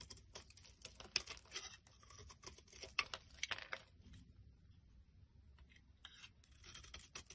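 A black flat blade scrapes and chips flakes off the top of a solid pink bar of soap held in the hand. Quiet, crisp, bright scratches and small snapping chips come in an irregular patter, with a few sharper cuts standing out between softer scraping strokes.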